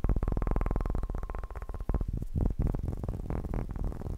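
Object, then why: Bowling pin. A bowling pin is tapped fast and aggressively, giving a rapid stream of deep, hollow thuds with most of their weight in the low end and almost no ring. The taps run in a quick, even rhythm for about two seconds, then turn looser and more uneven toward the end.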